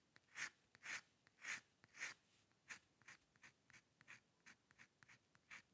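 A steel-nib dip pen with ink scratches fine hair strokes across a flat sheet of white drawing paper resting on a dark table. Dry, bright scratching strokes come in a loose rhythm: four longer, louder strokes first, then a quicker run of shorter, lighter flicks. The sound is quiet and close, with almost no low end.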